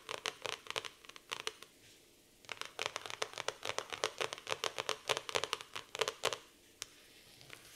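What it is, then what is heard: Laminated cardboard notebook cover. Long nails scratch the laminated cardboard cover of a black floral hardcover notebook, making quick, bright, dry scratching strokes. The strokes come in rapid bursts with short pauses between them, and each one stops at once with no ring.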